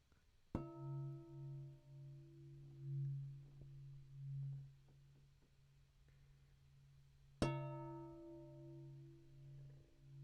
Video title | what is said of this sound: DRUM4WORK "Imagine Your Story" Library Program- FOUND SOUND EDITION | I'm gonna hold it in the middle so that I don't stop the vibrations and when I tap the edge of course because it's glass I'm gonna tap very gently